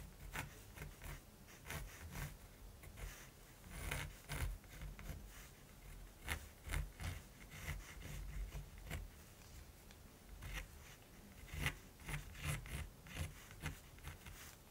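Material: Linen canvas.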